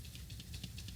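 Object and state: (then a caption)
Spray paint can with stuck agitator ball. An older metal aerosol spray paint can is shaken, but its agitator ball is stuck and gives almost no rattle. Only faint, soft swishing bursts sound over a low rumble. The stuck ball means the can is not mixing properly.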